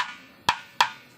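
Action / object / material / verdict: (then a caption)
tap / wooden dhol drum shell / wood / seasoned. Two sharp, hollow wooden knocks come from tapping the bare shell of a mango-wood dhol drum. Each tap has a bright, woody ring centered near 960 Hz that fades quickly. The shell is fully seasoned solid wood with no spice treatment.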